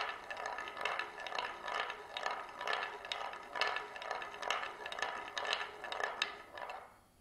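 A glass marble rolls in circles along the grooved rim of a shallow oval wooden plate tilted by hand, making a steady, bright rolling rattle. The sound swells and dips about twice per second as the marble circles, then fades away at the end.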